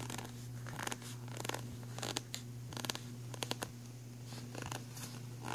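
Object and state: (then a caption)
Plastic pencil tray scratched. Fingernails scratch along the grooves and the raised textured edge of an empty black ridged plastic pencil tray. The result is a series of short, bright, raspy scrapes that stop quickly, over a steady low hum.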